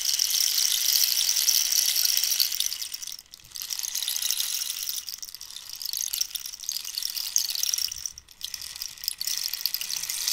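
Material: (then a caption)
Dried cactus. A long, hollow wooden rainstick made from dried cactus, with a rainbow-banded end, is tilted so its inner filling rattles while long nails tap on its surface. The result is a steady, bright, hissing patter like falling rain, with almost no low end. It briefly drops out around 3 and 8 seconds as the stick is turned, then pours on again.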